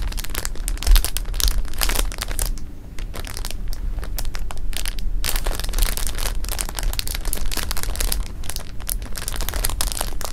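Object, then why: Clear plastic bag of jelly beans. Both hands squeeze and shift jelly beans inside a clear plastic bag resting on fabric, crinkling the film. The sound is a steady run of dense crackling and rustling bursts over a heavy low rumble, with a brief quieter dip around two to three seconds before the crinkling picks back up.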